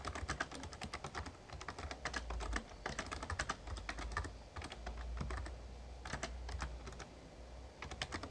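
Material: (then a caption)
Plastic. Fingertips type rapidly on the plastic keys of a full-size backlit Razer Ornata Chroma membrane gaming keyboard with a hollow case. The result is a dense stream of short, soft, clacky taps with brief bright clicks over a low, steady rumble, and the bursts ease off briefly before typing resumes.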